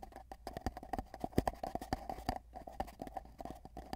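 Fingertips of both hands tap rapidly in a galloping rhythm on a long, hollow, empty cardboard tube with a microphone inside, then hold its ends. The result is a fast run of hollow, resonant pops with a clip-clop feel, each cut off almost instantly, over a steady tube-like hum.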